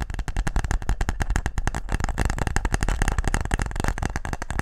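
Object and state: Wooden game case.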